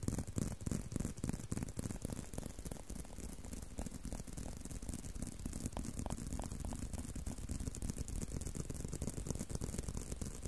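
A leather belt is tapped and handled with a quick, uneven stream of dull, low taps, about three per second, over soft rattling and rustling. The sound stays quiet and close, with each tap dying away almost at once, and there is no talking.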